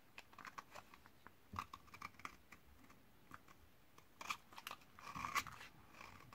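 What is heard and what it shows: A metal utility-knife blade scrapes across the surface of a thinned, solid white bar of 72% laundry soap from 2012, dried for eight years and held in hand. The result is a quiet series of short, dry, crunchy scrapes with a bright crackle centered around 1 kHz. Powdery shavings build up as it goes.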